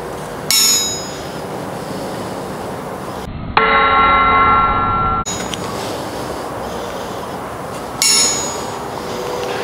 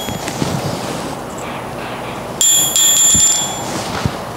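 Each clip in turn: First: cast steel anvil, ball bearing rebound test. Second: carbon steel striking anvil with almost no rebound (soft).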